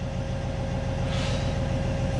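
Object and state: Nothing is struck.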